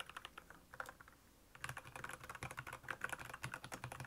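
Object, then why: Plastic mechanical keyboard. Fingertips type fast on a black plastic Royal Kludge mechanical keyboard with backlit keys. Sparse, crisp key clicks with a soft low thock at first turn into a dense, rapid patter of bright, short clacks after about a second and a half.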